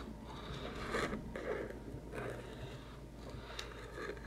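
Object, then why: Small cardboard box with lid. Fingertips and nails tap and scratch a small, hollow white cardboard macaron box with a lid that holds bottle caps. Soft, papery scraping and dull taps come in uneven bursts over a low, steady background hum, with a brief bright tick near the end.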